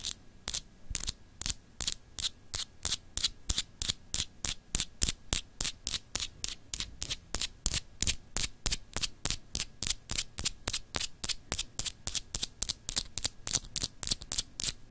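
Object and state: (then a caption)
Solid glass globe paperweight. Long acrylic nails scratch a palm-sized solid glass globe paperweight with frosted continents, producing about 54 short, bright, crisp scrapes at a quick, somewhat uneven pace of roughly three to four per second. Each scrape cuts off almost instantly, and a faint steady low hum runs underneath throughout.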